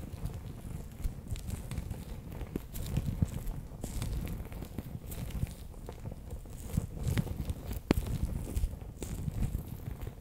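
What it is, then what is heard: Water-bead filled plastic pouch. A palm-sized, bear-shaped clear plastic pouch, sealed and full of orange water beads, is held in both hands while nails and fingertips tap and press its front surface. The result is a steady, muffled, low squishing and crinkling, broken by brief, sharp clicks from the nails.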